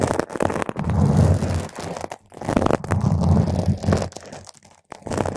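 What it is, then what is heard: Foam microphone windscreen being scratched. Long nail tips scratch around the surface of a round purple foam microphone windscreen, producing dense, muffled scratching and crunching that is heavy in low rumble. The scratching comes in sustained bursts separated by brief quiet gaps.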